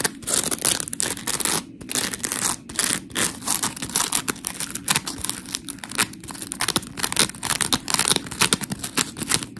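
Long pink nails scratch across the gritty surface of a white, hand-sized smiley-face scrub sponge made of coarse, porous polymer foam, held close. The result is a dense run of quick, dry scratching strokes, bright and hissy with almost no low end, rising and falling in short bursts.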